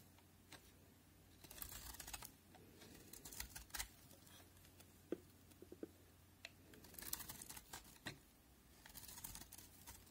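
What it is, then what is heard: Bar of soap being shaved. A solid cream-white bar of soap held in the fingers is cut and shaved into crunchy curls with a steel utility knife blade. Short bursts of bright, crisp scraping and crunching come in clusters, with a few sharp isolated clicks in between. A faint steady low hum runs underneath throughout.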